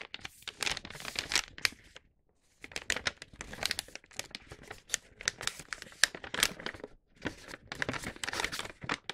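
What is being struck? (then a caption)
Paper gift bag. A flat, empty paper gift bag with a star print is unfolded and opened by hand, the paper rubbing and crinkling in bright, crisp bursts. The dry crackles come in clusters with a short silent pause near the two-second mark, then continue in uneven rustling waves with almost no low end.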